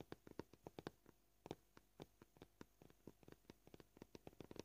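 Short purple-polished fingernails tap a flat, solid white plastic cutting board marked with knife scratches. About 24 short, dry clicks with a mid-low knock sound at an uneven, shifting pace, each stopping almost at once. The taps are quiet, with some louder ones standing out.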